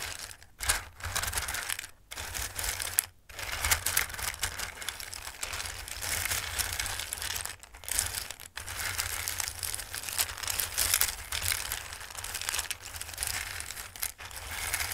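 Hands with long nails rub and shuffle hard, dry raw pasta shapes in a full bowl. The result is a dense, continuous crisp rustling and clicking, mostly bright and high, broken by a few brief pauses.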